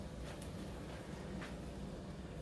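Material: Nothing is struck.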